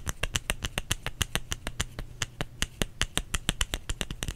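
A solid white bar of soap held in the hands is tapped with the fingertips and nails, giving a steady run of about 28 short, dry clicks with a bright top and a soft low thud. Each tap dies away almost at once, over a faint low steady hum.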